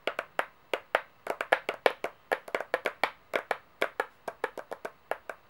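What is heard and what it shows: Long painted fingernails rapidly tap and click on large, gold-toned, solid brass-colored metal coins, some of them stacked, resting on a white board. The result is an irregular run of sharp, dry clicks with midrange body around 500 Hz and bright upper edges, each decaying almost instantly with no low end.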